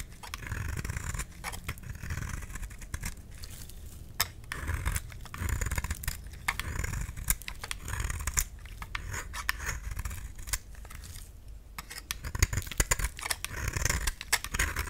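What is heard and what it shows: A utility knife blade scrapes a solid, cream-white rectangular bar of white soap held in the palm, shaving off powdery flakes. Many short, dry, crisp scraping strokes follow one another quickly, with a bright rasp over a soft low rumble. Each stroke dies away almost at once.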